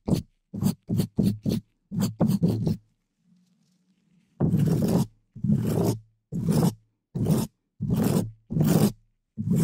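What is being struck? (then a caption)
Metal mesh microphone grille scratched with a plastic bristle brush. A green-and-white plastic dish brush in a black-gloved hand scratches the hollow black metal mesh grille of a large microphone. Eight quick, rough scrapes come first, then a near-silent pause with a faint low hum. About seven longer, louder brushing strokes follow, each a dull, low-heavy rasp that stops almost at once.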